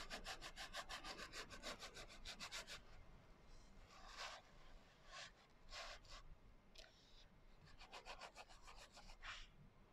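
Fingers rub and fingernails scratch the coarse glitter cover of a small, closed hardcover journal, which is turned sideways partway through. A fast run of bright, gritty scratching strokes gives way to slower, separate rasping swipes, then picks up into another quick run of scratches near the end.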